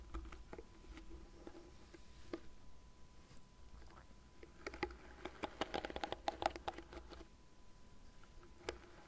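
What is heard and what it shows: Long nails scratch and tap the dense plastic bristle pad and the frame of a light blue plastic cat-shaped hairbrush turned to its bristle side. Soft, steady scratching runs under short, bright clicky taps, which thicken into a busier flurry in the middle before easing off again.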